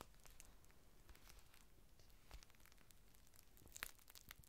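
Fingertips unfold a large, thin, clear plastic rain cover lying flat on a table, then crinkle and smooth it. The result is a quiet, steady stream of soft rustling and crinkling, broken by a few sharper, brighter crackles around the middle and near the end.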